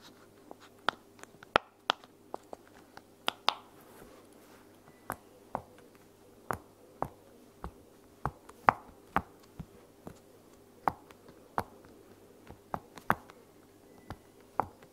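Long-nailed fingertips press and pop the bubbles of a green, pink and white heart-shaped silicone pop-it toy lying on a blanket. About 18 short, dry, sharp pops come at an irregular pace, each snapping with a mid-range tone over a faint steady hum.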